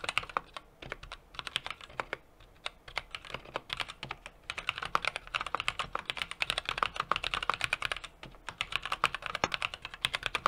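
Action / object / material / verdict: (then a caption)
tap / mechanical keyboard with metal case and plastic keycaps / plastic and metal / none. A small 60% mechanical keyboard with an aluminum case, brass plate and plastic keycaps is typed on rapidly with the fingertips of both hands. It makes a steady stream of short, sharp, bright key clacks with almost no low end, broken by brief pauses near one second and eight seconds.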